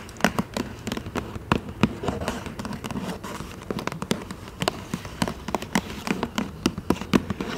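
A medium black paper gift bag with rope handles is tapped rapidly and scratched with long manicured nails across its flat side. Quick, dry, papery taps with no ring come in an uneven stream, each with a dull low body and a crisp bright edge. Soft scratchy rustling fills the gaps between them.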